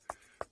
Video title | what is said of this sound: safariLIVE - Sunrise Safari - March 18, 2018 | You can hear how dry it is when I knock on it.